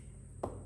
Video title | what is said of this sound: Building a Solid Hardwood Cajon | i did find these to be completely tonally dead